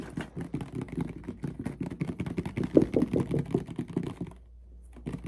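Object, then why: Plastic mouthwash bottle. A medium clear plastic mouthwash bottle with a white cap, partly filled with red liquid, is tapped and scratched with fingertips and nails. The result is a quick, uneven run of soft, hollow clicks and taps centered low-mid around 300 Hz, with a brief quiet pause near the end before the tapping resumes.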